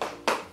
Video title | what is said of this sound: TRY ON HAUL SUPER LOW COST su FLORYDAY.COM! - Nica . Make Up | scarpa sembra molto rigida. Sentite il rumore picchiettando in terra